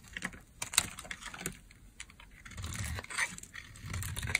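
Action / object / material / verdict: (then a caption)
scrape / bar of soap carved with a metal blade / soap / none. A metal blade carves dry curls off the end of a solid orange oval bar of soap. Quiet, crisp scraping and crackling clicks with a bright, dry edge come in quick, uneven bursts, with a few sharper snaps standing out. A low rustle swells underneath in the second half.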